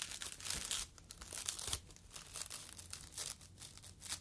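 A yellow foam fruit protective net, a mesh sleeve, is folded and squeezed with fingertips. It gives bright, dry crinkling and crackling in uneven bursts, louder around the first second and quieter, scratchier toward the end, with almost no low end.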